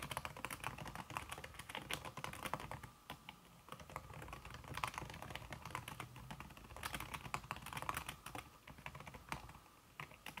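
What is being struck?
Aluminum keyboard with silicone key cover.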